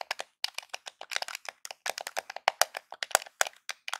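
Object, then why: Plastic game controller. Fingertips and nails tap and scratch the top edge of a small, hollow grey plastic Nintendo game controller held edge-on. The result is a quick, irregular run of about two dozen sharp, dry, bright clicks and ticks with no ring and almost no low end.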